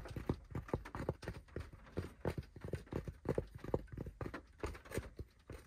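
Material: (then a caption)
Fabric. Fingertips tap and scratch quickly on the crown of a hollow, dark grey cloth baseball cap with an embroidered logo, resting on a lap. The taps are soft, dull, and low, with a short hollow thump and very little high-frequency content. Brief scratching rustles fill the gaps between them.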